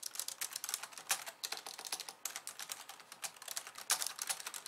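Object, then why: Plastic computer keyboard. Both hands type fast on a pink plastic slim keyboard with white keys, striking them with long nails and fingertips. The result is a rapid, uneven stream of crisp, bright clicks and taps that die away almost instantly, with almost no low end.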